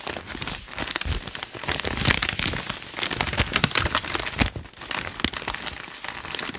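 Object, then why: Paper notebook pages. Fingertips rub and crinkle the handwritten paper pages of a thick notebook lying open. The result is a steady, bright crinkling and rustling full of dense little crackles, with a brief quieter dip about two-thirds through before the crinkling picks up again.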